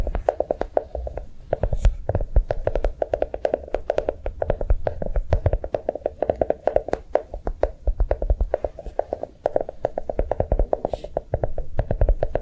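A notebook made to look like a bar of chocolate is tapped quickly with fingers, producing a rapid, steady stream of soft, short, dry taps with a low, muted body and a slight mid-range knock. The taps rise and fall gently in loudness throughout, with no ringing between them.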